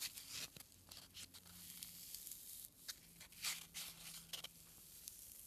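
A small, solid white foam packing peanut is squeezed and rubbed between a thumb and fingertips with short nails, held close up. It gives off bright, crinkly, squeaky scratching bursts that rise and fall unevenly, with very little low end and a faint low hum beneath.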